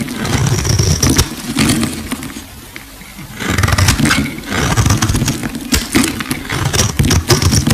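A solid rectangular green bar of soap, held in the fingers, has its edges shaved and scraped with a metal box-cutter blade. The result is a dense run of sharp, crackling scrapes over a low rumble, with a quieter pause near the middle before the scraping picks up again.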